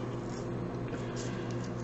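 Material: Nothing is struck.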